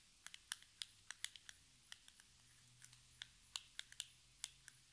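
Long red nails tap a small, hollow, metallic-pink cardboard cosmetic box, making 19 quiet, sharp clicks at an uneven pace over about five seconds. Each tap is bright and crisp and dies away almost instantly, with a faint low hum underneath.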